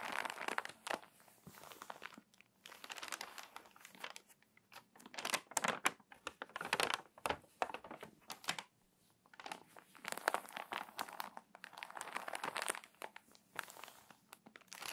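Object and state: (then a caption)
Crinkly glossy paper magazine. Fingertips with long nails press the pages of an open, crinkly, water-damaged glossy paper magazine, then flip a page and rub to crease the spine. Dense bursts of dry crinkling and crackling rise and fall in short clusters, bright and papery with almost no low end and no ring, pausing briefly in near silence between passages.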